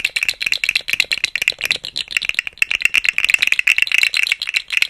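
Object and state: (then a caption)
Plastic articulated slug toy. A rainbow, segmented, hollow plastic articulated slug fidget toy is dangled and swung beside the microphone, its segments rattling against each other. The result is a rapid, continuous stream of dry, bright plastic clicks centered around 2.7 kHz, with almost no low end and each click dying away instantly.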